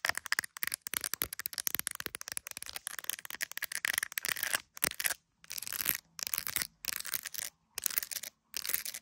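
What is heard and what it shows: Long acrylic nails tap and scratch the back of an iPhone in a clear plastic case decorated with gummy bears, held up to a mirror. Rapid, bright, dry clicks come in dense bursts at first, then give way to longer raspy scratching strokes separated by short silences.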